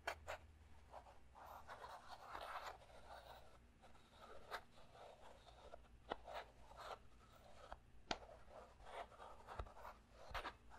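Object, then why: Small clear plastic puzzle cube. A small clear plastic puzzle cube is held in one hand while the other hand's fingertips and nails tap and scratch its faces, then twist it. Quiet, close scratching and rubbing is heard, broken by sharp tapping clicks.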